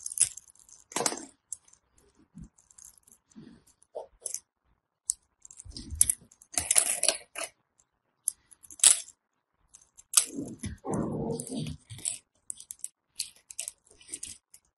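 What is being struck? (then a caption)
Bar of soap. A blade shaves and scrapes flakes off the edge of a dry, crumbly solid white bar of soap held in the fingers. The result is a run of short, dry crunches and bright, crackly scraping bursts.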